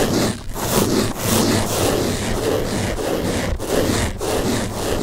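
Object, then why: Open-cell foam car sponge. A large blue open-cell foam car sponge is scratched across its top with fingertips, then held in both hands and rubbed. The result is a steady, dense scratchy rustle with a bright, airy hiss and a soft low body, broken by a few brief dips as the strokes change.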